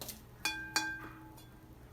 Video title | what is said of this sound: We one to the glaze room | you can hear that it rings like a bell it feels hard